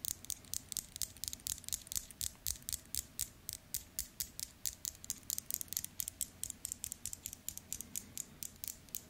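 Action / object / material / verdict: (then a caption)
tap / steel and gold metal wristwatch / steel / none. Fingertips and nails tap the case and click the bezel and links of a two-tone steel and gold metal wristwatch with a link bracelet, held close in the hands. About 43 short, bright, dry clicks come at an uneven pace over a faint low hum, each one dying away almost instantly.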